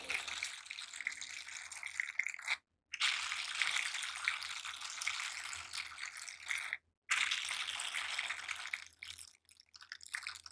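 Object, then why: Silicone scrubber gloves. Worn silicone scrubber gloves: one gloved hand rubs and presses over the bristled palm and back of the other. The result is a dense, bright, scratchy rustling with a faint low hum underneath, broken by two brief silent pauses, then thinning into sparse crackles at the end.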